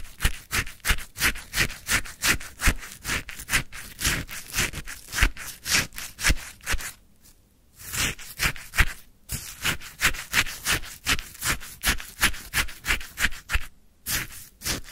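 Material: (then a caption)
Ice. A wooden stick pokes and scrapes icy frozen lemon sherbet in a white paper cup topped with a lemon slice. It makes a rapid, uneven series of crisp, crunchy scrapes, about fifty, with bright high hiss. Short pauses come near 7 and 14 seconds.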